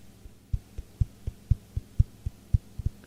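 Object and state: Wooden surface knocked.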